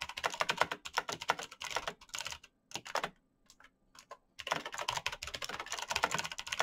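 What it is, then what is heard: Plastic mechanical keyboard. Bare fingertips type fast on the plastic keycaps of a black backlit mechanical keyboard with clicky green switches. Dense bursts of sharp, bright clicks come in quick runs, with a near-silent pause in the middle before the rapid typing resumes.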